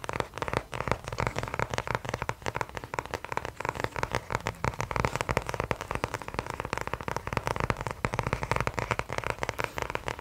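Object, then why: Cardboard-covered spiral notebook. A small notebook with a kraft cardboard cover and a metal spiral binding is held in the hand close to the mic and handled with the fingers on the cover. A dense, steady stream of quick, dry crackling taps and scratches continues throughout, with short, clicky sounds that stop almost instantly and a soft low rumble underneath.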